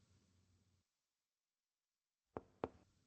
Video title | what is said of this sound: Vídeo de tórax | el sonido está timpánico el sonido cambia porque estamos percutiendo sobre el estómago un gran órgano hueco